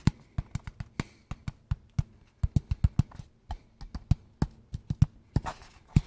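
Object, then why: Small cardboard box. A small, hollow, kraft-brown cardboard box is held in both hands and tapped with fingertips and nails. About 26 quick, dull, hollow taps land in a loose rhythm, with no ring and mostly low body, plus some brighter clicks from the nails. A short scratchy rustle sounds near the end.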